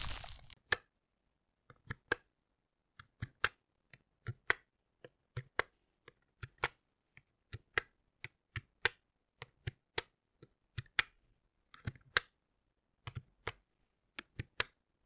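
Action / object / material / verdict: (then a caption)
tap / small bamboo slatted box tapped with a wooden stick / bamboo / none. A small, light bamboo or wooden box with a ridged, slatted top, likely hollow, is tapped and scraped with a round wooden stick held in one hand. A short scraping rustle opens the clip, followed by about 30 dry, crisp wooden clicks in irregular bursts, each bright and snapping off instantly with no ring.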